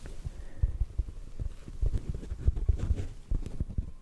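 A hollow black foam windscreen held close to the microphone is tapped with the fingertips. The result is a quick, uneven run of soft, muffled low thuds with almost no ring and nothing bright on top.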